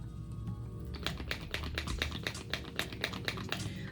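A bottle of smooth cover liquid makeup primer is shaken hard to remix its contents, since oil separated out when it was first opened unshaken. After a second of low background hum, a quick run of bright clicking rattles begins, about four per second and slightly uneven, each short and dry.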